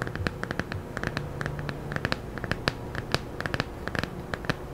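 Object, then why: Thin paperback book with glossy paper cover. A thin children's paperback book with a blue illustrated glossy cover, solid and held in both hands, is scratched and tapped with long nails. Quick, sharp, bright clicks ring out in an irregular stream over a soft, continuous scratching hiss and a low background hum.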